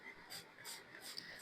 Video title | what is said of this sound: Protein Rich Breakfast Recipe - Healthy Breakfast Idea - RR Daily Cooking - | आपको आवाज से पता चल रहा होगा कितना क्रिस्पी बना है ये